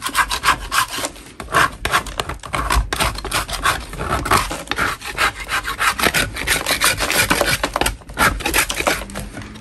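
A large solid lump of natural chalk is scraped with a metal putty knife held in a gloved hand, shaving powder off its surface. Dense, gritty scraping strokes repeat continuously with a bright, rasping texture and short dry bursts.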